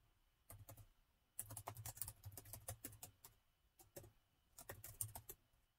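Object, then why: Plastic laptop keyboard. Fingertips type on a plastic laptop keyboard set in a gold metal body, producing sparse, short key taps in irregular bursts separated by brief pauses. Each tap is a quick, dry click with a soft low thump and a bright edge.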